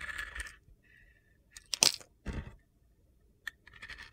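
A metal utility knife blade shaves and carves crunchy chunks off a palm-sized, solid pink and black glitter bar soap held in the hand. Short bursts of bright, gritty crunching and scraping alternate with quiet gaps, including a sharp crack near the middle and a quick click before the last scrape.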